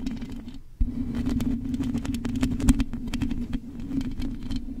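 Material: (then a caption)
Metal mesh. Long nails on both hands scratch the hollow metal mesh grille of a silver condenser microphone, mostly across its top and sides. A steady low hum sits under dense, crackly scratching and tapping textures, which briefly drop away just before the one-second mark and then return louder and fuller through the rest of the clip.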